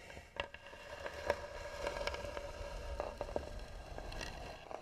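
Long nails scratch hard across the lid of a hollow, tan carved wooden box. The result is a rough, steady scraping with sharp clicky spikes and a hollow resonant ring around 580 Hz.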